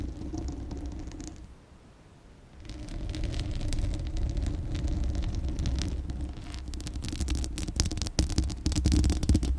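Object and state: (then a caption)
Steel mesh microphone grille scratched with nails. Long acrylic nails scratch the bare, hollow steel mesh grille of a large condenser microphone, producing a dense run of rapid scratching with a heavy low rumble and bright crackling streaks. After a brief quiet dip near the two-second mark, the scratching returns louder and grows more intense toward the end.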